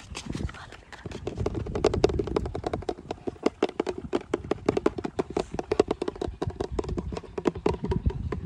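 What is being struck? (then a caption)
Plastic shampoo bottle. A medium-sized, hollow pink plastic shampoo bottle held in the hand is tapped and rubbed quickly with fingertips and nails. It gives a fast, steady stream of short, dry clicks with a hollow tone around 400 Hz, over a soft rubbing rustle.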